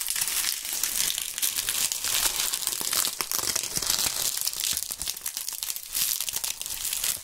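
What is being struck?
Autumn leaves.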